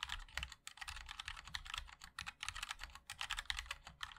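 A 60% MOD-L mechanical keyboard with a black aluminium case, white and black ABS keycaps and linear switches is typed on continuously with the fingertips of both hands. It produces a quick, steady stream of bright, crisp clacks centred around 2 kHz, with a soft low thud under each keystroke. Each tap dies away almost at once.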